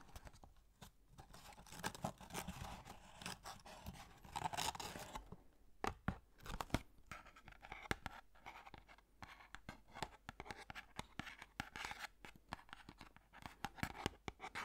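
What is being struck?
Small empty cardboard box.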